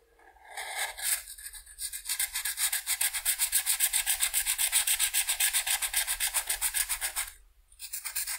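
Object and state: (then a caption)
Marker coloring on a paper sheet. A marker tip is rubbed back and forth across the upper left wing of a butterfly on a flat white paper coloring sheet lying on a table, while the other hand rests still on the paper. About thirty-six quick, even, scratchy strokes make a bright, high hiss with almost no low end. The strokes pause briefly near the end, then resume.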